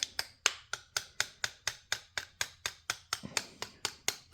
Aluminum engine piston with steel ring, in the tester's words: Stuck there in the backside a little bit. Can you hear the sound change?